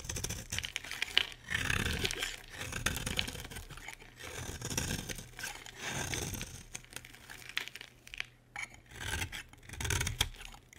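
A solid, dry green bar of soap held in the hand is shaved with a metal utility blade. Repeated bright, crisp scraping strokes peel across the surface, each with a soft low body beneath it and short pauses between cuts.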